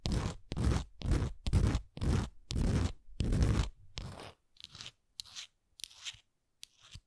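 Long nails tap and scratch the painted surface and edges of a small, solid wooden Canada ornament with a moose design. A run of loud, low, crunchy scraping bursts gives way to shorter, softer taps and scratches that fade out toward the end.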